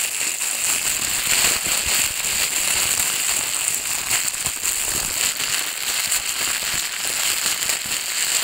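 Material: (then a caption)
Plastic. An empty, thin clear plastic bag is scrunched in the hands and then pressed onto a table. It makes a steady, dense, bright crackle with almost no low end and no separate hits.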